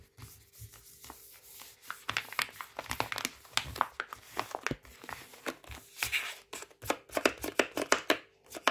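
A palm-sized Waitrose ready-to-heat rice pouch of flexible plastic foil, filled with rice and lying flat on a towel, is tapped and scratched with fingertips and nails. Quick, dry, bright clicks and scrapes come in a steady stream with some crinkling of the foil, and a faint low hum runs underneath.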